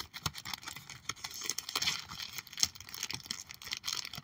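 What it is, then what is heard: Plastic sleeve binder page. Long acrylic nails tap and scratch on the clear plastic sleeves of a trading card binder page holding holographic cards. The sound is a quick, irregular stream of bright, crinkly clicks and scrapes, mostly high-pitched and fairly quiet, with each tap dying away almost at once.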